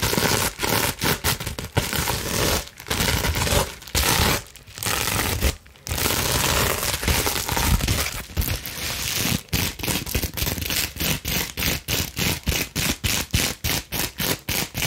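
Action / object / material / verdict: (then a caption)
scrape / plastic bubble wrap sheet / plastic / none. A clear plastic bubble wrap sheet is scrunched and squeezed in the hands while long nails scratch quickly over the bubbles. Dense, bright crinkling and crackling fill the first half, with brief pauses. It then becomes a fast run of short, rhythmic scratching bursts.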